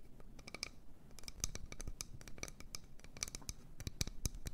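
A wooden bowl is tapped and scratched in quick succession. Sharp, dry clicks with bright, crisp tops sit over a soft, low scratching texture, and each tap dies away almost instantly. The sound stays quiet and close throughout.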